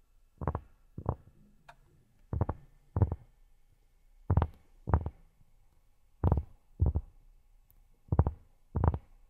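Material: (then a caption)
Cork. Fingertips fitted with silicone pads tap and scratch a large, flat, solid round cork board. Ten dull, muffled thuds land in five evenly spaced pairs, deep and short with almost no ring. Quiet rustling fills the gaps between them.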